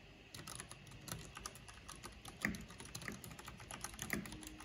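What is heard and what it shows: Long painted fingernails and fingertips tap quickly on a full-size black plastic mechanical computer keyboard with a purple backlight and hollow housing. The result is a steady patter of bright, crisp key clicks with a low hollow thock beneath them, and a few louder clacks stand out near 2.5 and 4.1 seconds.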